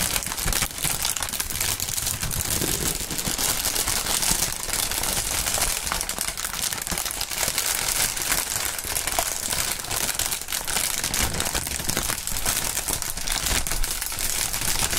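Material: Plastic film.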